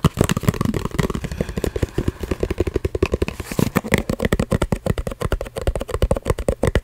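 A small, hollow, printed cardboard coin-bank box, held close to the microphone, is tapped rapidly with long red-painted fingernails. Some fifty quick, dry taps produce hollow, bassy thuds with a low resonant body and almost no ring. They form a fast, steady drumming flutter throughout.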